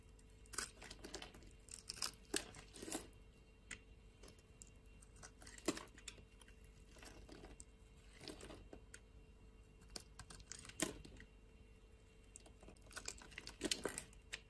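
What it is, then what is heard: Bar of soap being shaved. A utility blade scrapes and shaves curls off the surface of a solid purple soap bar held in the hand. The result is quiet, dry, crinkly scraping with bright, papery bursts that come in irregular clusters over a steady low hum.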